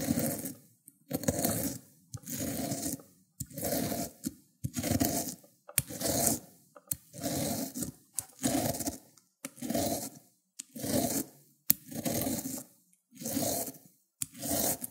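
A cucumber is grated in circles on a spiky white ceramic grater plate, producing a steady series of rasping, scraping rubs. Each stroke is about a second long with brief pauses between them. The sound is bright and gritty, with a fuller low rasp underneath.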